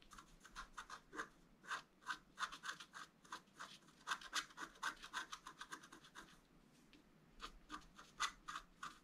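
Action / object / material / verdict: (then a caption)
scrape / coated scratch art paper and wooden stylus / coated paper / none. A wooden stylus scratches lines into a flat, black-coated scratch art paper board. Quick, bright, dry scratching strokes come in rapid bursts, pause briefly, then resume. The level stays quiet with little low end.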